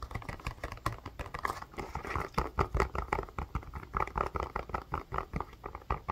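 A blue plastic ice pack with a white rim, held close, is tapped rapidly with fingernails and fingertips. The result is a quick, uneven patter of soft, dull taps, heavy in the low end with little brightness, each dying away almost at once.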